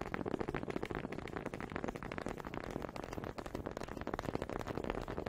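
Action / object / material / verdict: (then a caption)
knock / two small wooden honey dippers / wood / none. Two small solid wooden honey dippers, held by fingers with long pink nails, are knocked together close to the mic. The result is a rapid, uneven stream of short, dry wooden clacks with a warm midrange tone and almost no ring.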